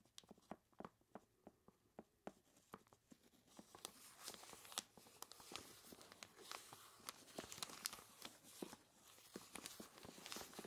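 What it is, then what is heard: Plastic bag full of ice cubes. Hands in smooth, mannequin-like gloves squeeze a large, clear plastic bag full of ice cubes and tied at the top. Sharp, separate crunches and clicks open the clip, then build into dense, continuous, bright crinkling and crunching of the plastic and ice.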